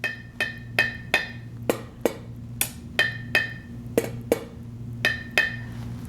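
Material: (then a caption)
Metal. A spoon taps the metal lid of a canning jar, fresh from the canner a few hours ago and still warm, 13 times. Each tap gives a short, bright, ringing musical tone rather than a dull thud. That tone, together with the lid sitting flat, shows the jar has sealed.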